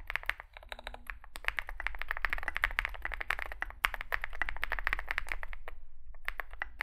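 Both hands type continuously with their fingertips on a compact 65% Zoom65 mechanical keyboard with an aluminium case, foam filling, lubed switches and SA plastic keycaps, resting on a desk mat. A rapid, steady stream of short, crisp clacks centres in the mid-high range, each dying away almost instantly over a low background rumble. The typing pauses briefly near the end before resuming.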